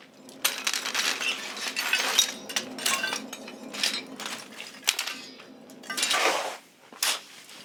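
Pieces of Kishu binchotan white charcoal made from ubame oak clink against each other in a quick series of bright, short, metallic, glass-like rings. The charcoal's hardness of 20, close to steel, is why it rings metallically when struck.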